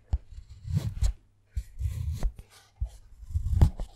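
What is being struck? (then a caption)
Solid dark chocolate bar. A wooden-handled metal carving tool held in the fingers scratches and carves names into the surface of a segmented solid dark chocolate bar, leaving shavings. Three bursts of dry, low scraping with sharp ticks are separated by brief silences.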